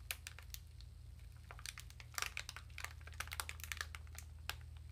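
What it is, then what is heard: Plastic-wrapped sponge package. A small dark sponge sealed in clear, thin plastic wrap is pressed and crinkled with fingertips and long nails. Quiet, bright, crackly bursts come in irregular clusters over a steady low hum, each crackle dying away almost instantly.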